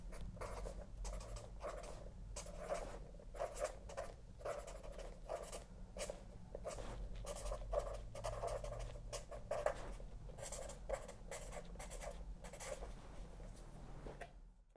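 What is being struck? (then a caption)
Felt-tip pen on a paper spiral notebook. A felt-tip pen writes on a spiral-bound paper notebook with a cardboard back resting on a lap, making a steady run of soft, dry scratching strokes with a mid-range rasp around 600 Hz over a constant low hum. Near the end the pen lifts and the hand rests on the page, and the scratching fades to quiet.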